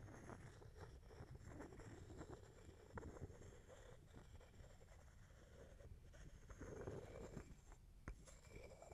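A wooden pestle held in the fingers is tapped and rubbed around inside a small, hollow, empty wooden mortar held close to the mic, with long fingernails also touching the wood. The result is a quiet, low, continuous scraping and rubbing texture broken by a few sharp, short taps.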